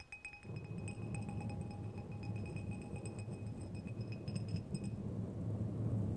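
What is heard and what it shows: Two long, thin, solid steel threaded screws or rods are crossed and scraped thread on thread, then tapped together. Light, bright metallic clinks and rasping scrapes ring briefly over a steady low rumble that grows slightly louder toward the end.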